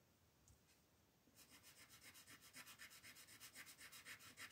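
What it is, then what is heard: Colored pencil on paper. A green colored pencil is rubbed back and forth across a paper coloring sheet held down by the other hand. After a quiet second with a couple of faint ticks, steady scratchy strokes begin in a quick, fairly even rhythm. The bright, dry hiss grows slightly louder as it goes on.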